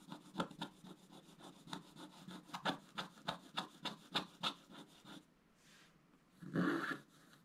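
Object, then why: Coated scratch-art paper scratched with a wooden stylus. A wooden stylus scratches the coating off a flat, coated scratch-art paper page in repeated strokes, making about 13 quick, dry rasping scrapes over five seconds. After a brief near-quiet pause, a single louder, fuller scrape follows.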